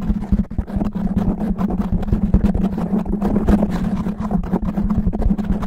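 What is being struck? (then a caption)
Foam microphone windscreen. A fist-sized, soft black foam windscreen over a microphone head is scratched fast and roughly by both hands with natural medium-length nails. The result is a dense, continuous run of rough scratching strokes with a heavy low rumble and a steady hum near 200 Hz, without a break for the whole clip.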